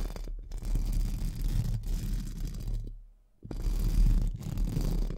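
Two pink spoolie brushes are scratched up and down and across a hollow, round metal mesh microphone grille. The result is a dense, low, rumbling scratch with a faint bright hiss above it. The scratching breaks off briefly around three seconds in, then resumes.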